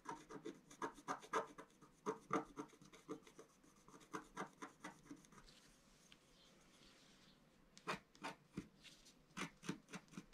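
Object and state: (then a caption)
Scratch-art paper sheet being scratched. A pointed wooden stylus held in the fingers scratches a flat, about A4-size black-coated scratch-art sheet over rainbow foil lying on a table. Quick, dry scratching strokes rasp out in an uneven rhythm. They pause for a stretch of soft, steady hiss before resuming.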